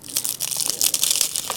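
A battered, deep-fried vegetable fritter being broken or crushed gives a quick run of dry, bright crunching and crackling, mostly high-pitched, with no low rumble. The fritter is very crispy.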